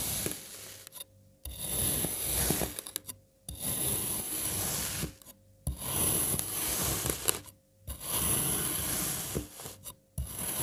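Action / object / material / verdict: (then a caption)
scrape / block of kinetic sand cut with a serrated knife / kinetic sand / none. A serrated knife makes crosswise cuts through an already-sliced solid red kinetic sand puzzle block, pressing down through the sand strips. Each cut is a gritty, crunchy scraping rasp, and the cuts repeat with short silent pauses between them. A faint high whine sits above the grainy crunch.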